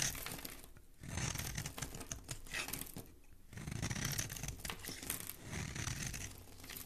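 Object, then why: Bar of soap. A metal blade scrapes and carves a solid, palm-sized green oval soap bar held in one hand, shaving off crumbly flakes. Dry, crisp crunching and tearing-like scrapes come in dense bursts, with a low thud-like body and bright, hissy detail. The strokes pause briefly around the 1- and 3-second marks.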